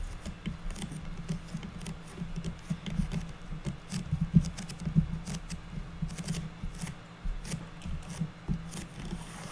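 Long natural nails on both hands tap and pitter-patter across the top of a flat, square, unfinished light wood board or box lid. The result is a steady, irregular patter of short, dry, low-pitched knocks with faint bright clicks, each dying out almost instantly, with a few louder taps standing out near the middle.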